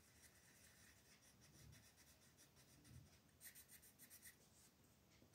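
A green colored pencil scratches and rubs repeated short strokes over a thin white paper mandala coloring sheet lying flat on a table, filling in the pattern while the other hand rests on the sheet. The sound is a quiet, steady, dry scratching with a bright papery hiss, turning into a run of quicker, crisper strokes toward the end.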